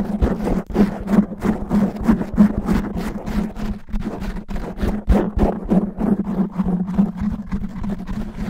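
Natural fingernails scratch fast and roughly over the top and sides of a black foam microphone windscreen. The result is a dense run of rustling, crackling scrapes with a heavy low rumble and a steady low hum underneath. The scrapes keep a quick, uneven rhythm.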